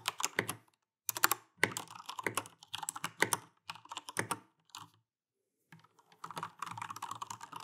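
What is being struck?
Mechanical keyboard with plastic keycaps.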